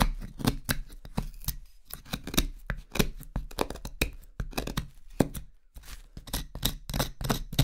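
A carving knife shaves the outside of the bowl of a solid, pale wooden spoon blank held in the hand. It makes a rapid run of short, crisp cutting scrapes with bright edges and a low woody body. Each stroke stops dead with almost no ring.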